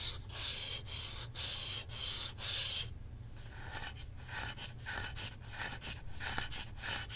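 Fingertips and nails rub and scratch along the handles of a hollow black plastic Nintendo Switch controller grip with red and blue Joy-Cons attached, as it is held up and turned to show the back. Bright, hissy scraping strokes repeat over a steady low hum, with a brief quieter lull before sharper, choppier scratches resume.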